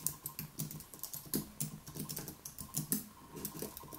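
Both hands type rapidly with their fingertips on a white Apple Magic Keyboard, with plastic keys on an aluminium body, resting on a wooden desk. A quick, uneven run of short, dry key taps is heard, each a soft low thud with a bright click on top that dies away almost at once. There are no pauses in the steady typing patter.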